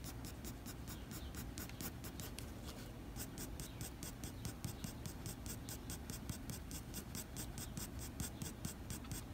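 The graphite tip of a blue mechanical pencil fine-scratches a flat sheet of white drawing paper in short hatching strokes, working on a graphite dog drawing. A quick, steady run of short, bright, papery scratches repeats evenly throughout, over a constant low background rumble.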